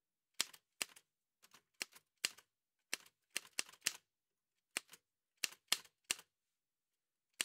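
Gloved fingertips in white satin gloves type on a large, heavy vintage Remington manual typewriter with a dark painted metal body and paper loaded, while the carriage moves. Sharp, bright keystrokes clack out at an irregular pace with short pauses between them. Each strike dies away almost instantly.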